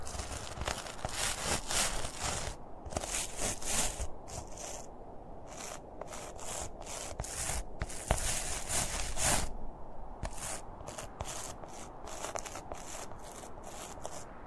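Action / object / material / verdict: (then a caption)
scrape / stuffed plush toy, polyester fabric / polyester fabric / none. A medium-sized stuffed plush Santa Claus toy made of soft red and white polyester fabric sits on a blue plastic lid. Both hands scratch and rub its plush red hat with their fingertips. The result is a steady run of soft, brushy rubbing strokes with bright, airy highs over a low, muffled rumble.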